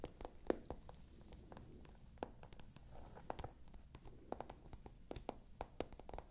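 Long nails scratch across a small, hollow pale pink patent leather clutch bag held upright, making a quiet, rapid series of dry, sharp scratches and taps. Each one stops almost at once, leaving a faint low rumble between them.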